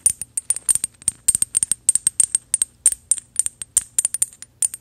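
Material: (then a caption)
Metal. A small gold metal bottle with an ornate cap, held upright, is tapped with paperclip fake nails. It gives a rapid, uneven run of about 29 sharp, very short, bright metallic clicks and ticks. Each click is high-pitched with almost no low end and dies away at once.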